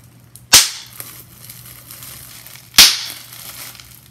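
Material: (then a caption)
Plastic. Bubbles on a clear plastic bubble wrap sheet are pinched and popped with fingers, giving two sharp, bright pops about two seconds apart. Each pop decays quickly, with faint plastic crinkling and a low steady hum in between.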